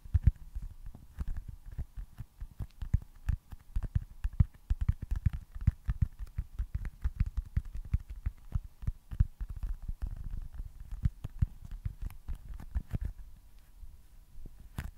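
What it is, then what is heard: Foam stress ball. A small, solid baseball-style foam stress ball with printed red stitching is held at the top of a microphone and tapped and scratched with fingertips and short nails. Dozens of quick, soft, muffled thumps land in an irregular stream, deep and boomy with almost no bright edge, each dying away almost instantly. Faint scratchy rustles sit between the taps.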